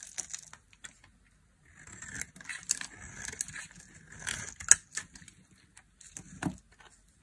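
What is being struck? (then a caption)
Bar of soap carved with a small metal blade. A small metal blade carves and scrapes a dry, hand-sized turquoise (teal) bar of soap held in the palm, shaving it into dry curls. Bright, crisp scraping and crackling come in uneven bursts, with one sharp snap near the middle and short pauses between cuts.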